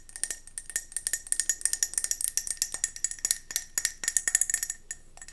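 A round gold mercury glass candle jar is held in the hands and tilted while long nails tap quickly on its base and sides. About 29 short, bright, clicky taps run in a rapid, uneven stream, each dying away almost instantly with a faint glassy ring.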